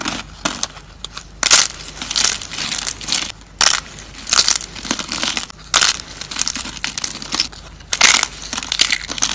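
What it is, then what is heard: Dry soap slices. Thin, dried, dark brown soap slices are snapped and crushed between fingers. Crisp, bright crunching and crackling comes in irregular bursts, with quieter crinkling between the louder snaps.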